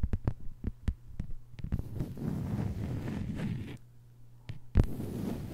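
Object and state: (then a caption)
Plastic cutting mat tapped with fingernails. Long white nails of both hands tap a thin, flat green plastic cutting board lying on a table. Short, dull, low thuds come first, then a dense flurry of soft rapid tapping over a steady low hum. After a brief quieter gap, a sharper, louder tap leads back into the busy tapping.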